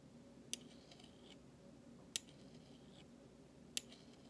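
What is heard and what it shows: A flat metal utensil handle scrapes across the bowl of a large, thin, solid stainless steel spoon in three separate, evenly spaced strokes. Each stroke starts with a sharp, bright metallic click and fades into a brief high shimmer, with a faint tone near 3.8 kHz. A soft, steady low background hum runs underneath.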